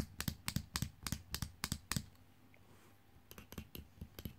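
Long painted nails tap and scratch the plastic torso and legs of a small, hollow, jointed plastic fashion doll lying on a fabric sheet. Quick, dry, typing-like clicks land in two bursts with a quiet pause between them, thirteen short taps in all.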